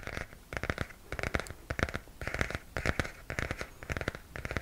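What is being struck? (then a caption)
Glossy cardboard book cover. Fingernails scratch and tap on the glossy cardboard cover of a hardcover comic book held close to the face. Short dry clicks and scraping come in quick clustered bursts, with a low thud under each group and a bright rasp on top. The result is a rhythmic, close-up crackle that dies out almost instantly after each touch.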